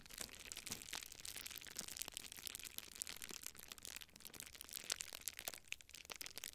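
A small clear plastic bubble wrap sheet is held in both hands while fingertips squeeze, rub and crinkle the bubbles close to a microphone. The result is a continuous, bright, high crinkling texture dotted with sharp, quick crackles and pops that stop almost instantly, with very little low end.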